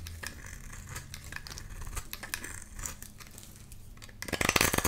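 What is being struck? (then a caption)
Bar of soap scraped with a metal blade. A metal blade scrapes and cuts crumbly shavings from a solid, pale-green rectangular bar of soap held in the hand. Soft, uneven crisp scrapes and crackles sit over a low hum, with a bright band around 2 kHz. In the last second the cutting turns into a louder, denser burst of bright crunching.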